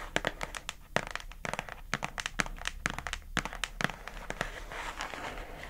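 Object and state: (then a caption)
Plastic food container lid, tapped with nails. Long acrylic nails tap and scratch across the lid of a pink hollow plastic food container box. Quick, irregular, sharp clicky taps with bright, crisp tops come in clusters, each dying away almost instantly. Toward the end they blur into a steadier scratchy, crinkly rasp.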